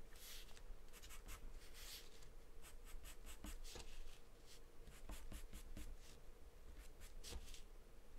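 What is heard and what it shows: A wooden pencil scribbles continuously on a sheet of thin, flat white drawing paper taped down. It makes a steady run of soft, dry scratching strokes with bright, hissy bursts as the pencil moves back and forth, over a faint low hum.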